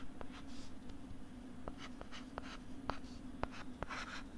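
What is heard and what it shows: A stylus scratches across a flat pink plastic LCD writing tablet held beside the mic, making soft, scratchy strokes. Brief sharp taps click through the strokes over a low, steady hum.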